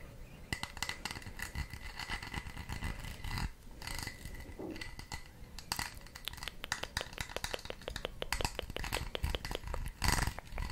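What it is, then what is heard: Textured plastic case. Long red nails scratch and tap across the ridged, braided surface of a small red textured plastic case held close to the microphone, while the hands turn it. The result is a steady stream of crisp, bright clicks and scratchy rasps, with a denser burst of taps near the end.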